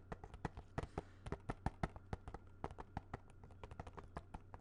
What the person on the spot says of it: this is definitely a much harder plastic sounding